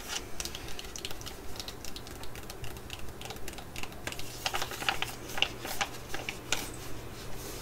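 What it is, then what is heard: Foil sheet-mask sachet tapped with nails. A full, flat laminated foil Betterskin sheet-mask sachet is held while long nails tap and scratch across its surface. Quick, crisp clicks and bright, dry scratchy crinkles repeat at an uneven pace over a steady low hum. Each tap dies away almost instantly.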